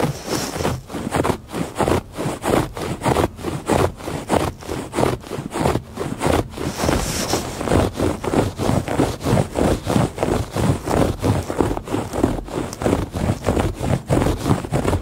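Fingertips and nails scratch and scrape across the weave of a woven textile rug in quick, fairly steady back-and-forth strokes. Each stroke makes a short, dry, rough rasp that is heavy in the low and middle range with little brightness, and the strokes run continuously through the clip.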